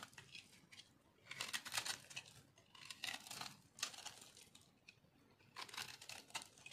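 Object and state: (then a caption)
Dry soap being scraped. A fist-sized, solid, white, crumbly dry bar soap chunk, held in one hand over a pile of soap shavings, is scraped and carved with a small metal blade that shaves off crunchy flakes. Bright, dry, crackling scrapes come in quick bursts of short crunches with almost no low end, separated by quieter pauses.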